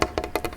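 Fingers tap quickly on a wooden tray table in a short burst of six dry, hollow knocks. Each tap is woody and mid-pitched, around 340 Hz, with a little high click, and dies away almost instantly with no ring.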